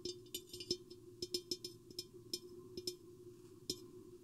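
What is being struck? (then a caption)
Mirrored glass vase. Long painted fingernails tap both sides of a medium-sized, hollow, empty, silver-mirrored glass vase with a square, hourglass profile, with the microphone lowered inside it; a green bottle nearby is not touched. An irregular series of quiet, bright, clicky taps sounds over a steady hollow resonant tone around 355 Hz, each tap dying away almost instantly.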